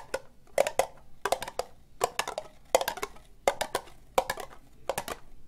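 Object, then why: Ribbed plastic cup. Long nails tap slowly on the outside of an empty, hollow, orange ribbed plastic cup. The clip has quick clusters of crisp, bright clicks, with a hollow plastic tone in the mid-range around 570 Hz. Each tap dies away almost instantly, with little low end.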